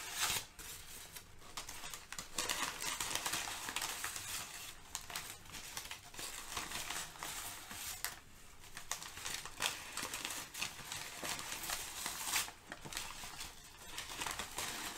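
Two hands with short painted nails crumple, fold and shift crinkled sheets of thin brown kraft packing paper lying on a fluffy rug. The result is a steady, bright, dense crackling and crinkling with little low end, rising and falling in loudness as the paper is squeezed and moved.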